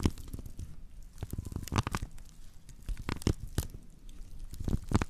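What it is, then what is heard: Woven straw plate. Long nails of both hands scratch across the base of a woven straw plate made of natural fiber, and the plate is later tilted to show its rim. Dry, crackly scraping and rustling come in irregular bursts, with a low, muffled rumble underneath and sharp bright crackles on the stronger strokes.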